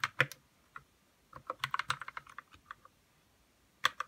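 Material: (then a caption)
Plastic. Fingertips type on a white RK61 60% mechanical keyboard with plastic keycaps and lubed red switches in a hollow plastic case. Short, crisp clacks with a bright mid-high tone and little low end die away almost instantly. They come in quick bursts, then a pause, then two final keystrokes.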